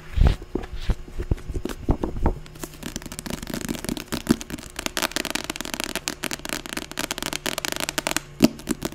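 Crisp, dry clicks with a soft papery thud open the run, each dying instantly with no ring. Then fast nail scratching over card and paper fills the rest as a continuous crackle, with a few sharper taps poking through.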